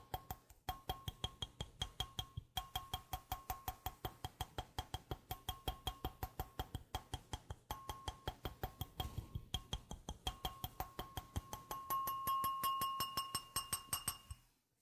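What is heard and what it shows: An empty clear glass wine glass, held upside down over the mic by its stem, is tapped on the bowl with long nails and fingertips in a fast, fairly steady rhythm of about 72 sharp clicks. Each tap brings out a short, bright glassy ring with a clear tone near 1 kHz and higher overtones. Toward the end the taps blur into a brief sustained ring before stopping.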